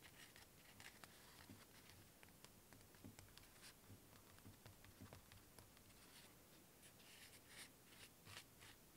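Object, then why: Cork-covered cylinder. A hand-sized cylinder wrapped in rough natural cork with small stickers is held in both hands while fingertips and nails scratch and tap its surface. Soft, dry scratching runs throughout, broken by brief bright taps and clicks at a very low level.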